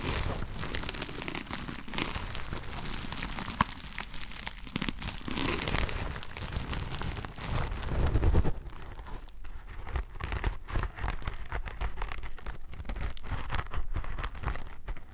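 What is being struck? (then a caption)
Sponge pack wrapped in plastic film. A plastic-wrapped sponge pack held against the microphone has its surface scratched and squeezed with fingertips and nails, crinkling the film. It makes a dense, continuous crackle and rustle over a heavy low rumble, swelling around the middle and peaking near eight seconds. After that it thins to sharper, more scattered crinkles.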